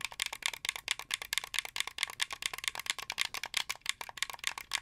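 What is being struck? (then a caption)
Plastic game controller. Fingernails rapidly tap and click the white buttons and plastic face of a hollow, translucent blue plastic Xbox 360 game controller held up close. The result is a steady stream of sharp, dry, bright clicks and rattles with no low end and no ring after each tap.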